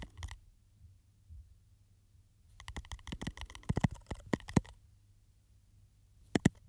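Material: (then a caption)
Glass. Fingernails tap and scratch a small glass perfume bottle with a textured, studded surface and a silver cap, held close to the microphone. Sharp, dry clicks with a bright edge come as a brief pair at the start, then a dense burst of quick taps through the middle, then a final pair after a pause. A low, soft rumble sits underneath throughout.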